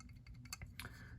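A Microtech Socom Elite folding knife with a little play in its steel blade gives off faint, quick ticking rattles as the blade is pushed down. About seven short, high clicks stand out over a low background hum. The rattle is a fit-and-finish flaw, with the blade's edge not thought to be tapping anything.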